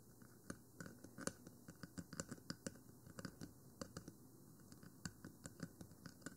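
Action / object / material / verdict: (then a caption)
tap / Plastic microphone housing / plastic / none. Long fingernails on both hands scratch and tap across the top of a 3Dio Free Space binaural microphone, a black plastic, rectangular hollow housing with white silicone ears. The result is a quiet, irregular stream of short, dry clicks and taps over a soft scratching bed, with almost no ring after each hit.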